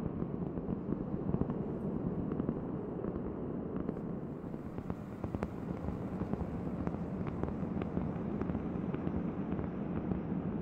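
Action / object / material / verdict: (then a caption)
tap / round cork board / cork / none. Long nails tap quickly and steadily on a large, thin, solid round cork board held close to the microphone. The result is a dense, soft, crackly patter of short, dry taps that fade almost instantly. The sound sits mostly in the low and low-mid range, with only faint sharper clicks above and nothing bright.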